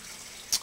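A 1985 clad penny, mostly zinc, is flicked, giving a single short, dull, high "dink" that dies away almost at once with no ring, unlike a copper penny. Faint background hiss runs beneath it.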